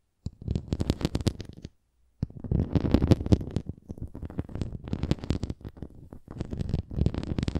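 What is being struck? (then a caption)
Plastic flying disc. Long nails scratch the rim and bumpy surface of a red plastic flying disc toy, making dense bursts of low, rumbling scratching. The sound pauses briefly near the two-second mark, then carries on in irregular rasping strokes.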